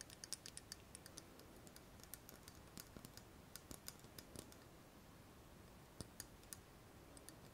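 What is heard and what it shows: Long nails tap and scratch along a slim, shiny metal pen-like tube held in both hands. A quiet, uneven run of sharp, bright clicks with almost no ring sits over a soft, steady hiss, with faint scratchy scraping between the taps.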